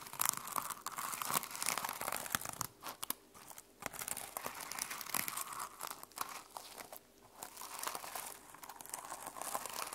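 Long nails scratch and flip the plastic flip-sequins on the cover of a closed sequin-covered notebook resting on a table. The result is a dense, crinkly rustle of rapid bright clicks and scratches in bursts, with brief quieter pauses between strokes.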